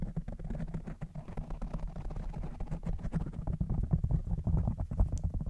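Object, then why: Foam microphone windscreen. Fingertips of both hands rub and scratch a soft, porous black foam windscreen covering a standing microphone. The result is a dense, low rumbling texture dotted with many quick, soft crackling scratches, growing slightly louder toward the end.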